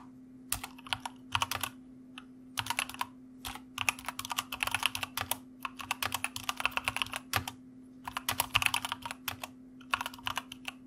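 Fingertips of both hands type on a white mechanical computer keyboard with plastic keycaps, producing bursts of rapid, bright, clacky keystrokes separated by short pauses. Each click is crisp and dies away almost instantly, over a faint steady low hum.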